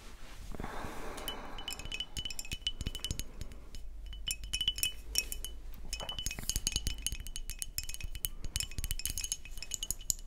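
Long nails tap and scratch the neck, metal cap and paper label of a brown glass beer bottle. The result is a dense run of quick, bright glassy clinks and ticks that die away almost instantly, with a scratchy rustle near the start and a steady low rumble underneath.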